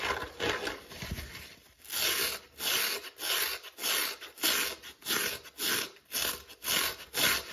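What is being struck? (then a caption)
Foam kitchen sponge with scouring pad. Fingertips scratch and rub the crumbling foam side, then the green scouring pad, of a dry, palm-sized yellow kitchen sponge held in the hand. The result is a bright, dry rasping, first as a loose scratchy stretch and then as a steady run of separate brushing strokes, each a swell of high hiss with almost no low end.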